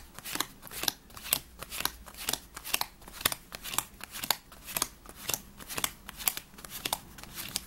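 A handheld deck of worn paper playing cards with red backs is split, and fingertips riffle and shuffle the two halves together. Quick, crisp, bright flutters of snapping card edges come in short bursts, roughly twice a second at an uneven pace. Each flick stops dead with no ring.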